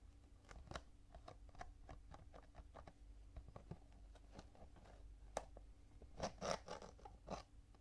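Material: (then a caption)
Cardboard. Fingertips and nails tap and scratch along the top panel and edges of a full cardboard Kinetic Sand box lying on its side. The result is quiet, dry, irregular clicks and scrapes over a faint low hum, with a louder, brighter burst of scratching near the end.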